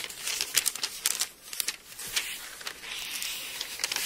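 Thin paper pages of an open Bible, held in both hands, are flexed and turned, then rubbed flat with the palm. The sound is a bright, crisp crinkling and rustling made of quick papery snaps with almost no low end. It ends in a steadier soft hiss as the palm smooths the pages.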